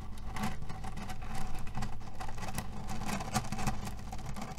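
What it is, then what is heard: Cherry pit pillow (cotton bag of cherry stones). A cotton pillow filled with cherry stones is scratched with fingernails and kneaded with both hands. The pits shift and grind against each other in a steady, dense patter of dry rustling and clicking, heavy in the low end. Brief brighter crackles rise above it throughout.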